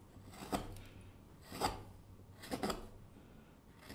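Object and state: Wooden kuksa cup being carved with a gouge.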